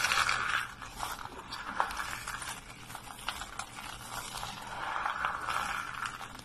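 A pile of thin, dry, brittle white soap flakes and curls on a wooden surface is squeezed and crunched in bare fists, then pressed and rubbed flat with fingertips and palms. The result is a steady, dense stream of dry crunching, crackling and scraping, centred around 1 kHz with bright crisp edges. It has little low end and is louder at the start and again near the end.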